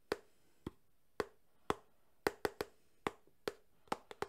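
A small, closed cardboard phone box, held at an angle, is tapped on its edge and side with fingertips. Twelve short, dry, hollow knocks come at an uneven pace, bunching closer together toward the end. Each knock has a resonant tone around 414 Hz and dies away almost instantly.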